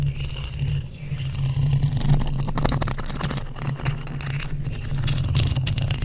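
Two thin wooden skewer sticks, held in long-nailed hands, scratch and rub across the black metal mesh grille of a large hollow microphone. The result is a steady stream of fast, irregular scraping ticks over a dense low rumble. Faint bright crackles sit on top.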